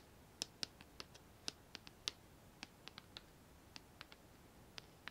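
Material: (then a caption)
Painted metal. A medium white painted metal plant pot with a lace-pattern cutout rim, hollow and filled with makeup brushes, is held in the hands while long nails scratch and tap its outer wall. About 18 quiet, sharp, bright clicks are scattered irregularly across the clip. Each one stops almost instantly with no ring, over a faint hiss.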